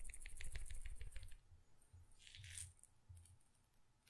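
A small glass pepper grinder jar, half full of peppercorns, is held by its cap and shaken or tilted in one hand so the peppercorns rattle. A quick run of bright, clicking rattles fills the first second and a half, then softer bursts of rolling, sliding peppercorns follow, with a brief louder swish midway and a sharp click at the end.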